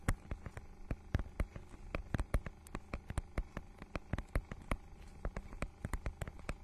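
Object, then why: Plastic book cover with raised scale texture, scratched with nails. Long nails scratch and tap across the holographic, scale-textured plastic cover of a notebook-sized book, making a rapid, uneven series of about 33 short, crisp ticks. Each tick dies away almost instantly over a steady low hum.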